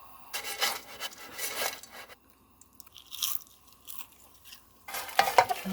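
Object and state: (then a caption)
Crisp, done stir-fried dried shrimp. Dried shrimp stir-fried in oil are stirred in a pan, giving bursts of dry, crisp crunching and rustling with short quiet gaps between. The crisp crunch while stirring shows the shrimp are done and crispy.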